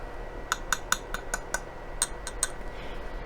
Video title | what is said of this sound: Vintage Christmas Collaboration Hosted By The Collection Vintage and My Blessed Nest | sounds like metal feels like metal